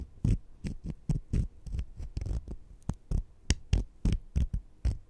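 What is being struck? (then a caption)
Sugar-coated jelly candies. Two small, solid sugar-coated jelly fruit-slice candies are held in the fingertips while one scratches against the other. The result is a run of short, soft, muffled scratching bursts with a dull, low body and faint bright grit on top.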